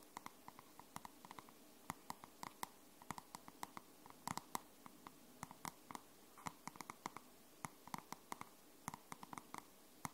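Long nails tap and scratch the matte cardstock cover of a dark grey paperback book held in both hands. Dozens of short, sharp clicks with no ring, centred around 1 kHz with bright high edges, sound over a faint scratchy hiss.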